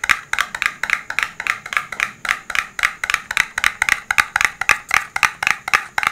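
A rigid, hollow, dark blue printed cardboard smartphone box is held in both hands and tapped with fingertips and nails. About thirty quick, dry, hollow taps fall in an uneven rhythm, each bright and clicky with almost no low end and a very short decay.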